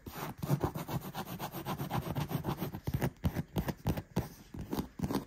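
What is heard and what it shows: Fingertips and nails scratch and rub across the padded, soft seat of a black stitched faux-leather gaming chair with white trim. The result is a quick run of short, dull scuffing strokes, mostly low in tone with little brightness, each stroke ending almost at once with no ring.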